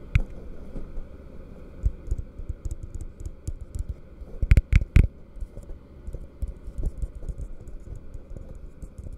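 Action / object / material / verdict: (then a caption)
tap / plastic drinking cup / plastic / none. An empty, hollow plastic drinking cup is held open end down in one hand close to the mic while fingertips and nails tap its base and sides. Quick, soft, dull hollow taps patter unevenly throughout, with a cluster of three louder, sharper clicks near the middle.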